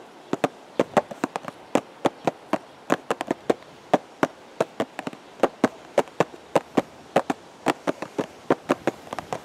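A hollow purple and white cardboard teacake box, held at the chest, is tapped with the fingertips about forty times in an irregular rhythm. Each tap is a short, dry, hollow knock centered in the mids that dies away almost instantly over a faint steady background hiss.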